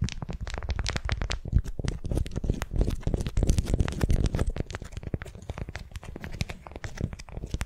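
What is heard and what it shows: A beeswax-coated cotton wrap, twisted like a candy around a small wooden sphere and held in both hands, is gripped and crinkled with long nails and fingertips. Dense, irregular crackling and sharp crinkly ticks come over a heavy low rumble from the handling. The texture stays steady and close, with no ringing between the quick clicks.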